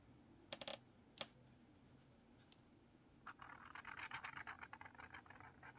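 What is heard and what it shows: A blue felt-tip marker held in the fingers is drawn across a lined paper spiral notepad lying open on a table, scratching the page. A few quick, bright scratchy strokes come early, followed by a quiet pause. Then a longer run of rapid, dry scratching continues to the end.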